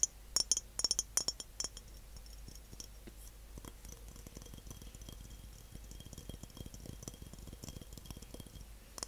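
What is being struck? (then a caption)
Medium glass jar. A medium glass jar is tapped and rattled, giving sharp, bright clinks. A cluster of louder taps in the first two seconds gives way to a steady patter of quieter clicks and rattles that continues to the end.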